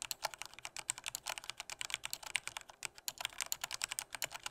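A full-size black plastic Corsair K68 mechanical keyboard with Cherry red switches is typed at normal strength with the fingertips of both hands. A rapid, steady run of short, bright clicks and clacks sounds with almost no low end, each keystroke dying away instantly.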